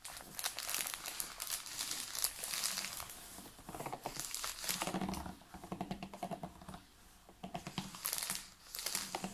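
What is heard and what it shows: A large, clear, ridged PET water bottle full of water is held upright while fingertips and nails tap and scratch its plastic walls and label. The result is a dense run of bright, crinkly clicks and scratchy rustles, with short pauses between bursts.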